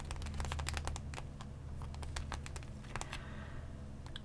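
A Pokémon card blister pack lies flat on fabric: a hollow, clear plastic blister holding booster packs, a card and a coin, sealed to a cardboard backing. Long painted nails and fingertips tap and scratch it, making quick, irregular clicks and crinkly scratches with bright edges over a steady low hum.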